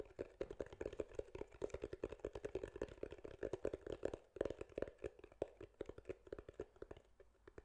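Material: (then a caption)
Foam. Fingertips and nails tap and scratch a soft, porous grey foam windscreen over a microphone. The result is a fast, dense run of muffled, dull taps centered around 400 Hz, each dying away almost instantly, with little bright content and a brief gap just past the midpoint.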